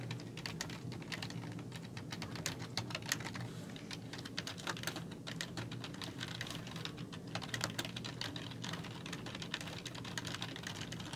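Fingertips with long nails type steadily on a black plastic computer keyboard with hollow keys. Rapid, bright, hollow clicks and taps sound over a steady low hum, with only a brief ring after each key.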